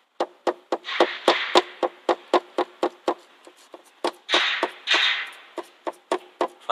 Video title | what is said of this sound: Стучат (скрипят) задние фонари Ford Focus 3 | Слушаем внимательно. Фонарь весь шатается и гремит. Хотя я постукиваю слегка.